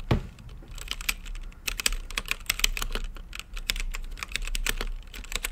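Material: Plastic.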